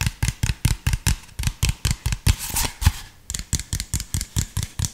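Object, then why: Plastic drink bottle. Fingertips tap the body and cap of an empty, hollow, clear PET drink bottle with an orange label and cap. A quick, steady run of short, dull, hollow thumps follows, each with a low knock and a dry bright click. The taps blur briefly into a soft crinkly rustle midway before the even tapping resumes.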